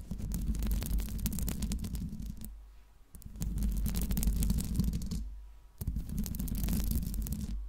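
Long pink nails scratch and tap the hollow metal mesh grille of a silver Blue Yeti microphone, producing dense bursts of rapid, irregular scraping and clicking. The sound has a heavy low rumble beneath bright, crackly taps. It comes in three stretches separated by two brief near-silent pauses.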